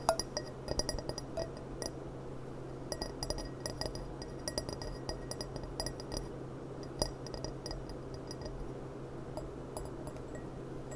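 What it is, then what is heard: Glass goblet tapped with fingernails. A small clear gilt-rimmed glass goblet, a hollow, empty stemmed cup with a gold rim, stands upside down on a cloth while long painted nails tap around its stem and base. Quick, light glassy clinks with bright high overtones come in irregular clusters over a steady low hum. Each tap dies away almost at once.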